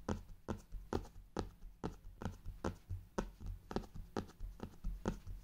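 Fingertips with painted nails tap and drum on the cover of a brown faux-leather hardcover journal lying flat on fabric, around its gold clock emblem. About sixteen soft, dull thuds come in an uneven rhythm, each carrying a faint crisp tick and dying away almost at once. The result is a quiet, low, muffled patter.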